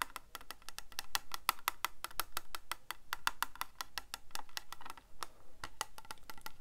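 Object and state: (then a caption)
Plastic calculator back. Fingertips and nails tap rapidly on the back of a small, hollow, white plastic Casio scientific calculator. The result is a quick stream of short, dry, clicky knocks with a hollow tone around 1.3 kHz and bright edges, each dying out almost instantly.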